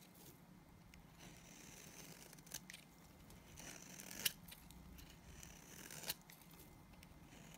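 A utility knife blade shaves and scrapes the dry surface of a solid white speckled bar of soap held in the hand, sending powdery flakes falling. Soft, bright scraping strokes run throughout at a low level, punctuated by a few sharper crisp snaps as the blade catches.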